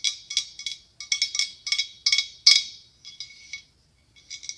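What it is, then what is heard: Blown glass pumpkin tapped with nails. A large, hollow, ribbed white blown glass pumpkin with a clear curly glass stem is tapped with long acrylic nails. It gives bursts of quick, bright, glassy clicks and clinks that ring briefly and carry a high, chiming tone, with short pauses between the clusters of taps.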